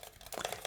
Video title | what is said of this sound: THICC CLICCS - System 76 Launch Mechanical Keyboard ASMR Review (soft spoken) | sounds solid right there's really no hollowness in there